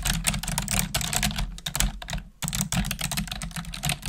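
Long nails and fingertips type rapidly on a black plastic desktop keyboard, producing a dense stream of bright, clicky keystrokes over a steady low hum. The typing pauses briefly just before the midpoint, then resumes at the same quick pace.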